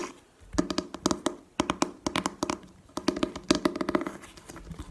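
Long painted nails tap and scratch the printed cardboard faces of a book-sized manga box set filled with books, first lying on a table and then stood upright. Quick, dry taps with almost no ring come in uneven bursts, each with a hollow, boxy tone around 320 Hz and a papery, bright click on top.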